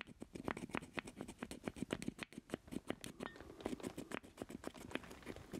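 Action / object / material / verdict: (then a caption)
tap / plastic joystick controller base / plastic / none. A black plastic joystick with a hollow base is held in both hands while fingertips and nails tap and scratch the base. The result is a quiet, rapid, irregular patter of short, dry, hollow taps with bright clicky edges, mixed with soft scratching between them.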